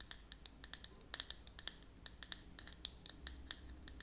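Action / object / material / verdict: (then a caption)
tap / plastic screw lid of a cream jar / plastic / none. Long natural nails scratch and tap in quick strokes on the flat top of a round white plastic screw lid on a closed, branded cosmetic cream jar held in one hand. The result is a rapid, irregular run of short, dry clicks and scrapes, bright and crisp with a tone near 3.9 kHz, over a faint low hum.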